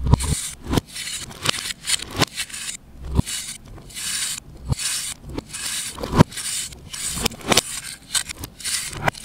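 A solid, compressed pale green disc of baking soda or chalk, held in the hand, is scraped with a knife blade and crumbles. A series of quick, dry scraping strokes produce bright, hissy rasps with crackly crumbling and sharp clicks, separated by short quiet gaps.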